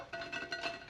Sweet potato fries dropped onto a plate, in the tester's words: you can hear how crispy they sound as they hit the plate